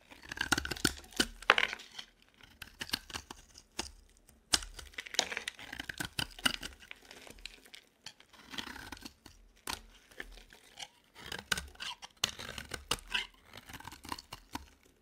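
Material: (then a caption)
Soap. A dry, cream-colored solid bar of soap held in the hand is scraped with a metal utility knife blade. Bright, crumbly scraping and tearing strokes come in quick clusters with brief pauses, each stroke short and dry with no ring.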